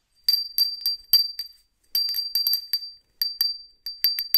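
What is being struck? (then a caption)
Small ceramic hand bell. A small, hollow white ceramic hand bell, held in a black-gloved hand, is shaken so it rings in short bursts with pauses between them. Each strike gives a bright, high, glassy ping that dies away quickly.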